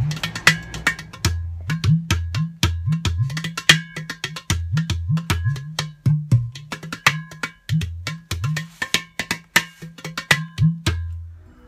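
A hollow, empty ceramic udu clay pot drum held in the lap is tapped rapidly with fingers and palm on the body and near the side hole in a rhythmic pattern. Short, bright clicks ride over deep, booming low tones that bend in pitch around 100–200 Hz, with many quick strokes throughout.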